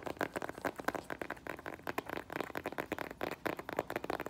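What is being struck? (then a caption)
Synthetic leather strappy sandal. Fingernails tap and handle the tan synthetic footbed and metallic rose-gold faux leather straps of a flat strappy sandal held in the hands. The result is a fast, dense series of soft, dry clicks and light scratchy rustles that die away almost instantly.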